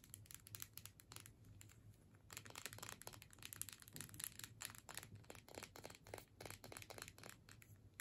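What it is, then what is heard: Plastic tube with metal cap, tapped and scratched. Long nails tap and scratch a hand-sized clear plastic tube with a paper label and a metal screw cap, filled with scented sticks and held in the hands. Rapid, crisp clicks and dry, crinkly scratching come in a dense, bright stream with short dead decays over a faint low hum.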